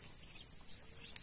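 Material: Nothing is struck.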